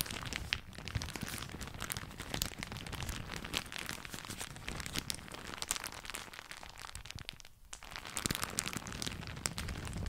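A thin floral plastic shower cap, balled up in one hand beside the mic, is crumpled and crinkled with the fingers. The result is a dense, continuous crackling and rustling across low and bright tones, with a brief quieter dip around seven and a half seconds before the crinkling picks back up.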